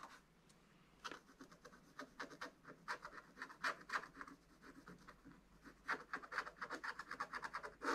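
A wooden stylus scratches firmly and repeatedly over the dragon area of a black wax-coated scratch-art page in a spiral book. Short, dry, rasping strokes come in uneven bursts with quiet gaps, centered in the mid-range with bright edges. The strokes turn quicker and denser toward the end.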